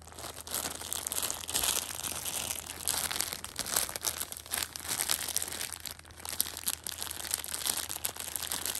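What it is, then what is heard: Plastic-wrapped tissue pack. A Shopkins six-pack of pocket tissues in clear plastic film wrap is held in hand, and the film is crinkled and pressed with fingertips and painted nails. A continuous, bright, papery crinkling runs throughout with dense overlapping crackles and little low end.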